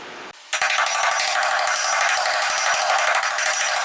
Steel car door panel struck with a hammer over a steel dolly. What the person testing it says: I know I'm on the dolly that way